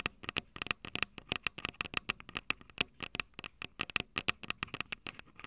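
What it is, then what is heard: Audio recorder mic capsules tapped with fingernails. Long purple nails tap and scratch the metal mic capsule heads of a small Tascam DR-05 handheld recorder, which has a plastic body and two metal mic capsules. About 34 quick, dry, bright clicks and scrapes come in an irregular run, each ringing briefly around 2.6 kHz with very little low end.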